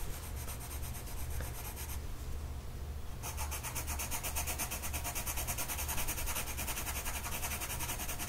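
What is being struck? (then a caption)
Colored pencil on a paper sheet. A colored pencil tip is rubbed across a flat printed mandala sheet of paper on a table, held in place by one hand. Quick, rhythmic scratchy strokes fill the clip with a bright hiss, briefly softening around two to three seconds before resuming more sharply. A steady low hum sits underneath throughout.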